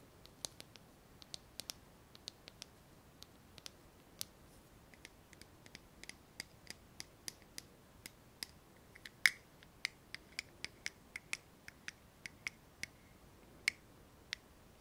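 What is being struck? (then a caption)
Small plastic lighter. A small pink translucent plastic lighter, held in the fingers, is tapped and clicked with long nails. About 34 sharp, bright, dry clicks sound in an irregular rhythm over a quiet background, each one dying away instantly, with a few louder taps carrying a faint high ring.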